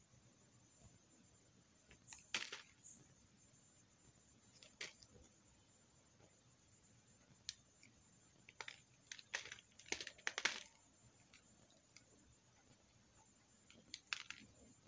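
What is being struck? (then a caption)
Carved soap bar shaved with a metal knife. A metal knife shaves curls off a carved green soap bar held in the hand. Quiet, bright, dry scrapes come in short, irregular bursts over a low background hiss, with the strongest cuts clustered near the middle and the end.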